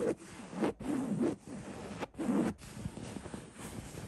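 Fingertips scratch the coarse fabric of a cream linen-weave printed throw pillow. The result is a series of soft, dry, raspy scratching strokes, separated by brief pauses, with a muffled low-mid texture.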